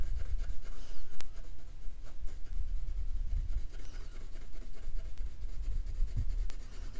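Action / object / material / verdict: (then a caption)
scrape / colored pencil on thin paper over a wooden table / paper / none. A purple colored pencil held in the fingertips rubs and scratches back and forth over a thin printed paper dot-to-dot sheet, coloring in a witch hat while the other hand holds the sheet still on a wooden slat table. The sound is a soft, continuous, low scratchy rubbing, broken by a few brief, sharp ticks.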